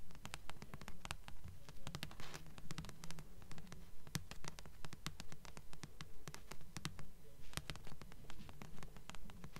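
Long nails quickly tap and scratch the glossy front cover of a thick blue paperback book made of solid paper, held upright in both hands. The sound is a steady, quiet rhythm of soft, dull low thuds with short, crisp clicks and brief scratchy swells, each dying away almost at once.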